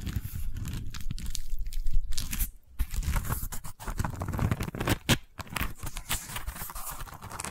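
Long nails scratch and rub across a long woven wicker tube held horizontally. The result is a dense, continuous crunchy scratching with bright crackles over a low rumble, broken by brief quiet gaps near 2.6 and 5.3 seconds.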